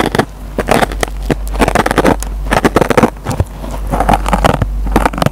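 A metal pen tip picks and scratches at the fibers of a dry rectangular yellow foam kitchen sponge with a green nylon scouring pad. Many short, dry crackling scrapes come in quick bursts over a steady low hum.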